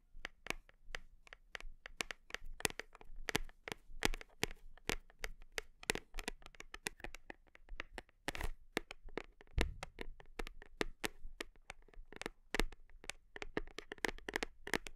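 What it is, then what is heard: Plastic protein tub. Long nails tap quickly and repeatedly on the side and label of a large black plastic whey protein tub held against the body. Each tap is a short, dry click with bright crisp edges and almost no ring, coming in an uneven flurry with occasional louder knocks.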